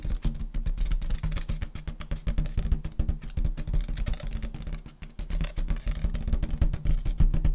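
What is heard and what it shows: Long nails rapidly tap and scratch the surface of an inflated, hollow purple metallic latex balloon held in front of the body. The taps come in a quick, irregular stream of short, dull, low thumps with a hollow resonance and almost no high content, dipping briefly near the middle before picking up again.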